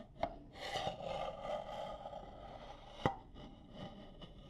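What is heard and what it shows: A stack of empty, hollow, nested striped wooden salad bowls is held close and scratched and tapped with long nails on the outer surface. Soft rasping scratches ring with a hollow, woody tone around 790 Hz, broken by a few sharp, quickly fading taps.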